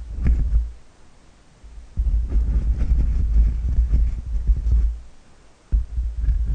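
Both hands scratch and rub a black, fluffy knitted yarn cover with a shaggy fringe fitted over the grille of a black desktop condenser microphone, using medium-length fingernails and fingertips, then cupping and rubbing it with the palms. The result is a deep, muffled, bass-heavy rumble of scratchy rustling in three loud stretches separated by quieter pauses, with almost nothing in the high frequencies.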